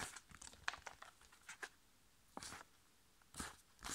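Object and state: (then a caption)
Foil face mask sachet, tapped and crinkled. A flat, sealed, foil-laminated plastic sachet holding a sheet face mask is tapped with fingertips and nails, then turned edge-on and crinkled. Quiet, bright, crisp clicks and taps come first, followed by longer bursts of papery crinkling with little low end.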